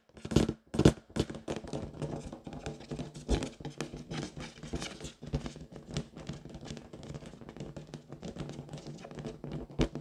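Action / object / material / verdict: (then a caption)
tap / inflated latex balloon / latex / none. Long nails tap and scratch the side of an inflated pink latex balloon, hollow and air-filled. Quick, uneven taps give dull, low, drum-like thuds with a short hum, mixed with rubbery scratching and squeaking. A few louder taps stand out near the start and at the end.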